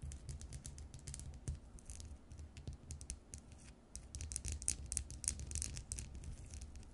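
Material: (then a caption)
Glass. Long nails tap and scratch the faceted surface of a small, round, cut-crystal glass bowl on a short foot, hollow and apparently empty. Quick, bright clicks and scratchy ticks come in dense clusters and die away at once, over a steady low rumble.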